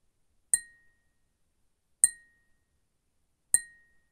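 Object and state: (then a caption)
Glass cup tapped with a fingernail. A glass cup is tapped three times with a fingernail, about a second and a half apart. Each tap makes a bright, high clink with a thin ringing tone that fades quickly.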